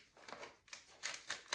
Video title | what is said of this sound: Swap littéraire avec Céline | je ne veux pas trop le secouer parce que ça fait du bruit. On dirait des biscuits ou un Lego.